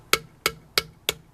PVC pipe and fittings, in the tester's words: you hear the hollow sound go away